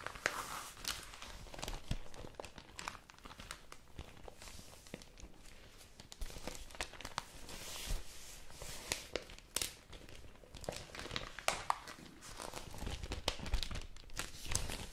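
A thin printed paper newspaper insert is held in both hands and flexed and crinkled with fingertips and long nails. A steady, close, dense crinkling and crackling runs throughout, with sharp bright snaps standing out at moments and a soft low rumble underneath.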